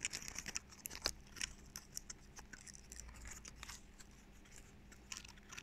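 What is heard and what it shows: A small, dry brown pine cone with solid, natural woody scales is held in both hands close to the mic while fingertips and nails scratch and flick its stiff scales. Quick, sharp, bright clicks and dry crackling scratches come in irregular bursts over a quiet, faint low background hum.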